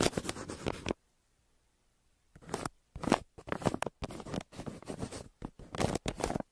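A yellow wooden pencil held in the hand scratches strokes across the surface of a flat brown kraft paper mailer. Bursts of dry, papery scratching run through most of the clip, broken by a silent pause of about a second and a half near the start.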